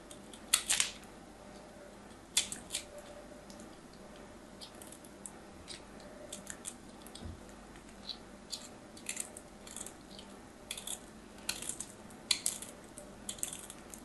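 A small knife blade scrapes a small remaining piece of solid white bar soap held in the fingers, making quiet, dry, high-pitched scratching bursts. The strokes come in short, sharp clusters with brief gaps of near silence, and each one cuts off almost at once.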